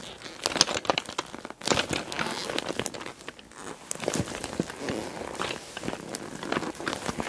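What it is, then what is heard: PVC bag full of glass bottles. Fingers with long dark nails grip and squeeze a small, closed, clear PVC cosmetic bag with pink holographic trim, packed full of small glass nail polish bottles. Dense, bright plastic crinkling mixes with sharp clinks of the glass bottles knocking together inside, in uneven bursts with brief quieter pauses.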